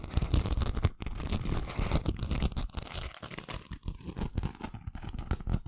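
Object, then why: Glitter-coated craft sheet. Long fingernails scratch the chunky glitter on a flat, thin craft sheet with a coarse gold and pink glitter surface, held in both hands above the microphone. The result is a dense run of rough, crackling scrapes with a heavy low rumble and bright grit. Brief dips break it up, and the high crackle thins out in the second half.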